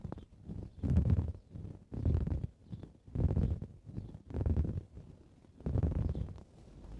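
Fingernails scratch a green coarse-weave fabric cushion. Repeated strokes come in rough, uneven bursts about once a second, producing a dull, low, rumbling scratch with almost no bright content.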